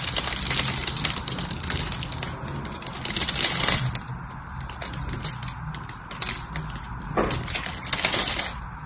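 A small craft blade carves shallow cubes into the face of a solid, hand-sized rectangular bar of dry blue soap held in one hand. Dense, bright scraping and crisp crumbling ticks run throughout, swelling into louder bursts and easing off between them.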